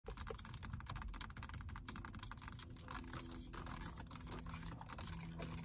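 Long acrylic nails tap and scratch quickly across the small screen and buttons of a plastic car stereo faceplate built into the dashboard, with a hollow body behind it. The result is a dense stream of short, crisp clicks over bright scratchy friction, with a low, hollow-sounding thump under each tap. A faint steady low tone runs beneath the second half.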